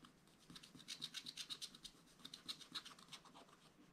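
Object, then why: Wax-coated scratch-art paper scraped with a wooden stylus. A wooden stylus scratches the black wax coating of a small spiral-bound scratch-art paper pad in short strokes. Quiet, dry, bright rasping scratches come in an uneven run of about four per second, with almost no low end and no ring after each stroke.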